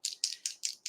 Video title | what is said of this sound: Luminess Cosmetics Live Stream | the pigment is a little bit heavier so you do want to make sure you hear that BB going to make sure you are shaking